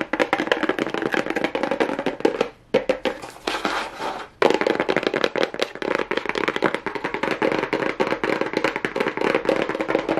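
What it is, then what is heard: Cardboard box tapped and scratched. Fingernails rapidly tap and scratch the plain cardboard side of a small, hollow cardboard box with a pink plastic rhinestone strip, turned over. The dense, hollow clicks ring around the mids and stop briefly near the 2.5-second mark. A quieter, sparser stretch follows, then the fast tapping picks back up at full force until the end.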